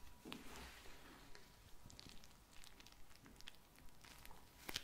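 A small pink vinyl eye mask filled with glittery gel beads, soft and full, is held in the hands and tapped and squeezed with long blue nails. Quiet, irregular taps and bright clicks mix with soft squishing and crinkling over a low background hum and a faint steady tone.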